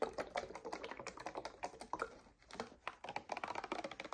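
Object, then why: Paperboard drink carton. Long nails tap rapidly across the faces of a paperboard coconut water carton held in both hands. The clicks are quiet, dry and short, mostly mid-pitched with little low end, and they come in a dense patter with a brief lull near the middle.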